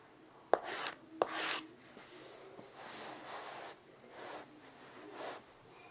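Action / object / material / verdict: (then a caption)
scrape / chalk on a wood-framed chalkboard / chalk / none. A child writes "THANKS" with a stick of white chalk on a flat rectangular chalkboard, about 40 by 60 cm, with a dark writing surface and a light wooden frame, lying on carpet. Two sharp chalk taps are followed by a series of dry, rasping scratch strokes as the letters are drawn. The writing is finished, and the hand comes to rest beside the board.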